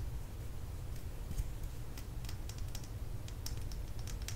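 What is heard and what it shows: A small plastic lip gloss tube is held upright and tapped rapidly with long nails along its length. Quick, light, bright clicks patter irregularly over a steady low hum.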